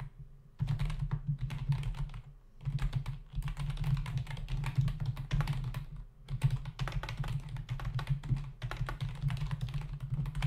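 Fingertips of both hands type rapidly on a full-size black plastic membrane keyboard with hollow keys resting on a dark desk. Dense bursts of short, hollow plastic clicks and taps run almost continuously, with brief pauses near the start and middle. A steady low hum sits underneath throughout.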